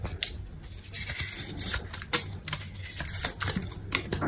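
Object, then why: Bar of soap cut with a knife blade. A hand-held, solid yellow-green bar of dry soap is grid-scored and shaved with a metal utility knife blade. Quick, crisp scraping and cutting strokes sound bright and dry, with a low, steady background hum underneath.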